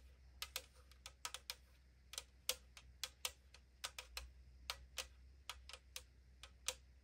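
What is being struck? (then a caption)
Aluminum drink can. Long acrylic nails tap the side wall of a tall 500 ml aluminum drink can lying on a table, making 22 quick, separate ticks at an uneven pace. Each tap is a short, bright, hollow thin-metal click that peaks around 3.3 kHz and dies away almost at once over a faint low hum.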